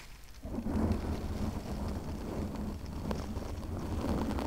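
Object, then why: Foam microphone windscreen. Long painted nails scratch and rub a soft, porous pink foam windscreen fitted over a large USB condenser microphone, using both hands. A dense, low, rumbling scratching swells in after a quiet start and continues as a steady muffled roar with occasional brighter crackles.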